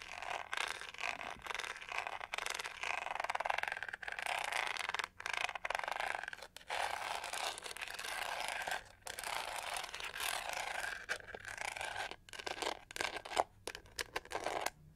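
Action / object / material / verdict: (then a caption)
scrape / plastic hair brush / plastic / none. Long nails scratch and tap the textured back of a pink-gold hollow plastic detangling hair brush held upright. The result is dense, bright, crackly scraping in long bursts, broken by brief pauses and a few sharper taps toward the end.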